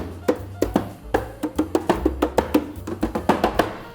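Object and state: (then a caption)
Sturdy metal espresso machine housing. Repeated knocks on the metal housing of a Planet Pro home espresso machine, whose body is almost free of plastic and made of metal, possibly stainless steel. About eighteen short, dry, hollow taps with a mid pitch and very little ring sound over quiet background music. The housing is judged very sturdy, unlikely to give however hard it is tapped, and the sturdiest machine met under about 500,000 won.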